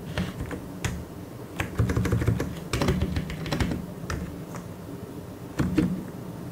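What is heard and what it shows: Fingertips, mostly of the left hand, tap the plastic keycaps of a full-size white mechanical keyboard in quick, uneven bursts. The clicks are short and clacky with a dull low body, and a few sharper bright strikes stand out from the steady typing rhythm.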